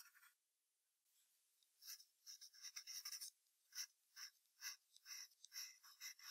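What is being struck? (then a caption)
Graphite pencil on paper sheet over hardboard clipboard. A yellow wooden graphite pencil held in the fingers sketches the outline of a fox's ears on white drawing paper taped to a flat, solid brown hardboard clipboard. After a brief quiet pause, soft scratching and stroking follow in a loose run of short, bright, hissy strokes, each fading quickly. There is no low-end body to the sound.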